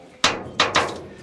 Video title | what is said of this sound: Shoring Up a Cellar Wall | you can hear that hollow sound behind that plate, and that's how much of a void we have